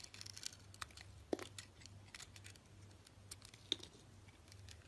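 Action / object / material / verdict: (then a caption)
scrape / bar of soap / soap / none. A utility knife blade shaves thin slices off a solid orange bar of soap with green crust remnants on its edges, held in a hand with long nails. The clip is full of soft, bright, crisp scraping and crackling as the blade cuts through, with a few sharper clicks standing out. A steady low hum runs underneath.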